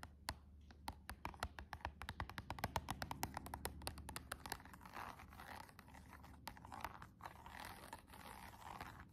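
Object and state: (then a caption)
Cardboard box with plastic window, tapped and scratched with nails. Long, decorated acrylic nails with rhinestones tap and scratch across the front and clear plastic window of a small, flat, hollow cardboard box of press-on nails, with the nails visible inside. A quick run of sharp, dry clicks fills the first half, then gives way to softer, continuous scratching with a papery midrange rustle and faint low hum.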